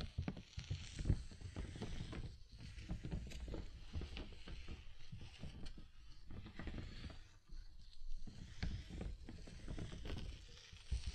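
Fingertips tap and scratch near the top of a large clear plastic (PVC) bubble umbrella, its hollow dome canopy held over the microphone. The result is a steady run of dull, low, boomy thumps with soft rustling scratches, each tap dying away almost at once under the dome.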